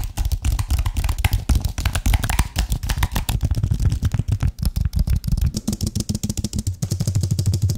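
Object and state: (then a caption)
Aluminium and plastic computer keyboard. Fingertips tap and click rapidly on the keys and frame of a white Apple-style wireless keyboard with an aluminium base and plastic keys, flat, fairly thin and solid, held close in front of a microphone. The result is a dense, steady run of short, dry taps with a heavy low-end thump and very little ring.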